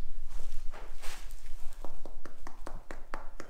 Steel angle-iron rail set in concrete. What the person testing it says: Everything feels solid you can tap on the metal no Hollow spots